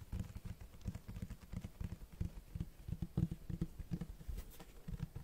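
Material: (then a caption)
Cloth, board. Fingertips tap and scratch the front of a large black Berserk hardcover book with a cloth-textured cover. The sound is a quick, uneven run of soft, dull, low thumps with faint scratchy rustle between them. Each tap dies away almost at once.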